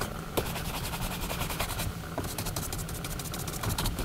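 A hollow, empty brown leather Lucchese cowboy boot sits on a rack while one hand grips it and the other buffs the leather upper with a horsehair brush in fast back-and-forth strokes. The result is a steady, dense scratchy brushing with bright swishing bursts over a constant low rumble.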